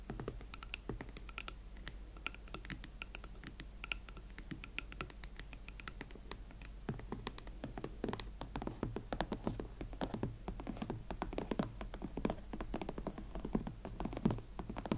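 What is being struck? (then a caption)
Leather platform ankle boots. Long nails tap and scratch the smooth leather shaft and platform of an empty pair of hot pink Valentino Club Platform leather ankle boots held together. Short, dry clicks and soft scraping strokes come sparsely at first, then grow denser and slightly louder in the second half over a low, steady hum.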